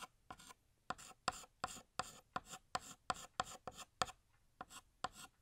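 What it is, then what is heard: Chalk drawing on a chalkboard. A blue chalk stick held in the fingers draws a balloon string on a large, flat, solid black chalkboard. Fifteen short, separate scraping strokes rasp across the board, each with a squeaky tone near 740 Hz and a bright, gritty hiss. The strokes stop dead with almost no ring and little low end.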